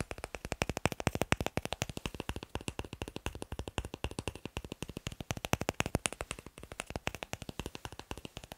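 Fingers tap quickly on wooden blocks in a fast, dense, slightly uneven run of short, dry knocks, each dying away almost at once. The taps are broadband, with a low thump under bright clicky edges, and no voice is heard.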